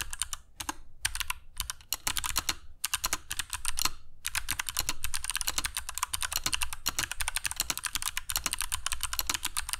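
A compact black mechanical keyboard with dark PBT plastic keycaps and Kailh Box Jade switches sits on a cork desk mat while the fingertips of both hands type on it continuously. A rapid, steady stream of sharp, bright clicks with a low thud under each keystroke, each dying away almost at once, with a few brief pauses in the first four seconds.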